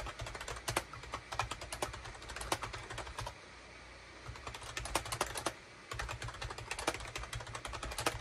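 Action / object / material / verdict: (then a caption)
tap / plastic computer keyboard / plastic / none. Fingertips type fast on a full-size gray and beige SHIPADOO K600 wired USB plastic keyboard with hollow plastic keycaps, producing rapid, bright, sharp clicks and taps that die away quickly. The typing runs in bursts, with a pause of about a second near the middle and a shorter one after, while a steady low hum continues underneath.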